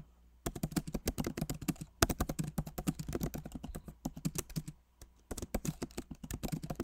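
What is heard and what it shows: Both hands type rapidly with their fingertips on a backlit MacBook Pro Magic Keyboard, which has plastic keycaps set in an aluminum body. About 33 short, dry key taps land in quick bursts, with brief pauses near the 2 and 5 second marks. Each tap has a soft low thump and a bright click that dies away almost instantly over a faint steady low hum.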